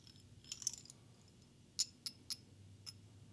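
A small solid carved stone owl figurine with banded orange, brown and cream colors, likely onyx, is held in one hand and tapped with a slim green beaded glass wand. A handful of quiet, irregularly spaced, bright glassy ticks ring out, each dying away almost instantly over a faint low background hum.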